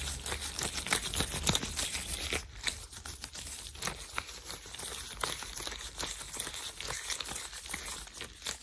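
Hands in thin white latex gloves are rubbed and flicked quickly against each other close to the mic. The result is a dense, bright run of crinkly rubbing and squeaky friction, broken by sharp snapping flicks that die away almost instantly.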